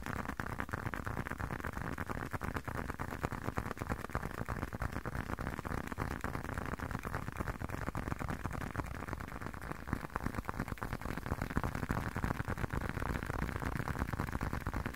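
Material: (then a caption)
Leather. A hand-sized, closed blue leather long wallet is tapped and scratched with fingertips and short nails. It gives a steady stream of soft, dull, low-heavy taps with brief scratchy rustles, each tap dying away almost at once. The sound is quiet and continuous throughout.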